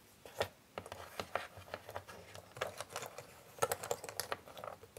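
Both flat hands with long nails rub and shuffle many small, thin, solid cardboard jigsaw puzzle pieces around on a grey board. Frequent sharp nail clicks and light tapping ticks ring out over a soft scraping rustle, each click dying away almost instantly.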